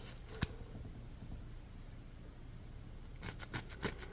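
Fingers and short nails scratch and squeeze a yellow, ridged, porous polymer foam Scrub Daddy scrub sponge held in one hand. A single sharp, dry scratch comes early, followed by a quiet stretch of soft low rustling. The clip ends with a cluster of brief, bright, crackly scrapes.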